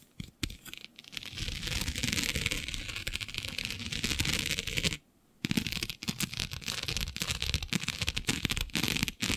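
Long nails scratch across the grid of a flat black iridescent plastic diamond mesh sheet. The result is a dense, bright, crackly scraping texture with a soft low rumble beneath it. The scratching runs almost continuously, breaks off briefly around the middle, then resumes.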